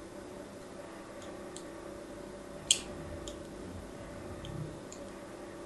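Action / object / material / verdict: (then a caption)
scrape / bar of soap / soap / none. A fine craft-knife blade scores a grid of shallow lines across a solid rectangular pink soap bar with an embossed logo, held in the hand. Soft, crisp scratching ticks come through over a quiet, steady low hum, with one sharper, brighter click standing out in the middle. Each stroke is short and dry, with almost no ring.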